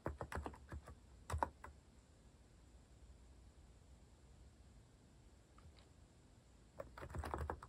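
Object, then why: Plastic mechanical keyboard. Fingertips type steadily on a compact white-cased mechanical keyboard with plastic cat-themed keycaps. Quick bursts of clacky keystrokes with a low thock underneath come at the start and end, separated by a long, nearly silent pause broken by one faint tap. Each key strike is short and dry, fading almost instantly.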